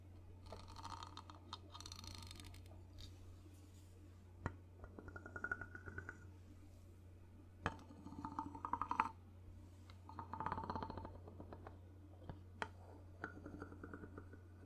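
A hand-held wooden two-tone block, made of two ridged hollow cylinders on a handle, is struck and scraped with a ball-tipped wooden mallet stick. Bursts of rasping scrapes with a hollow woody tone near 900 Hz alternate with a few sharp, quick-decaying knocks. A steady low hum runs underneath throughout.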